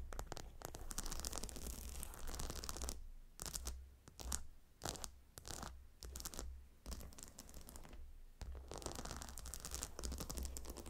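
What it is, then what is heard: Gemstone hot stone pillow. Fingernails scratch and tap across the glossy hexagonal stone tiles of a gemstone hot stone pillow. Dense, bright, crackly scratching fills the opening seconds, breaks into shorter scratches and taps with quiet gaps in the middle, then returns to continuous scratching at the end. A steady low hum runs underneath throughout.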